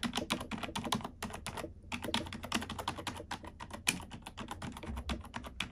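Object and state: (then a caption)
Plastic computer keyboard being typed on. A black plastic computer keyboard is typed on with long nails and fingertips, producing a steady stream of short, dry, bright clicks and taps with a brief pause just before the two-second mark. A faint low hum runs underneath, and one sharper click stands out near the four-second point.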